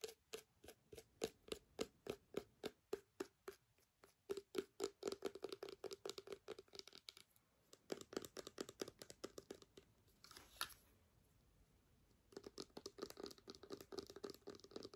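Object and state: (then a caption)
Plastic hand sanitizer bottle. A small, clear, partly full plastic hand sanitizer bottle is tapped with long nails in quick, uneven runs of sharp clicks that carry a hollow plastic tone. The taps start spaced and distinct, then blur into fast flurries. Around the ten-second mark a brief bright, hissy burst breaks in, followed by a short lull before the rapid tapping resumes.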